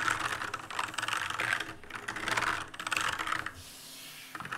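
Fingers press the keys of an RGB-lit black mechanical keyboard with plastic keycaps, producing rapid, dense clicky switch sounds centered in the midrange with a bright edge. The typing comes in bursts with brief gaps, goes quiet for a moment near the end, then resumes with a few final clicks.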